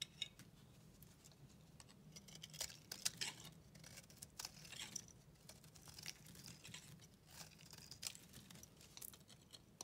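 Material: Soap.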